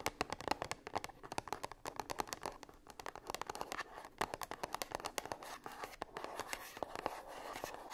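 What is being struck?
Small cardboard box.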